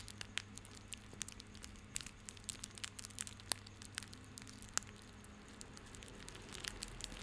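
A small coiled bundle of white plastic rope is held in both hands while the fingertips rub and squeeze it. It gives a quiet run of sharp, bright crinkling ticks and crackles over a faint steady low hum.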